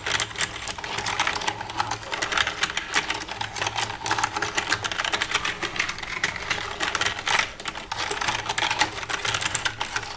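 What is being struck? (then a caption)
Plastic computer keyboard. Long red-painted nails tap and type across the keys of a black plastic desktop computer keyboard with a hollow casing, using both hands. A dense, continuous stream of sharp, bright plastic clicks with very short decay runs throughout, with slight rises and dips in intensity.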